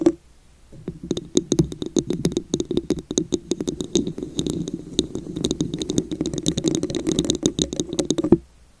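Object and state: Textured glass vase.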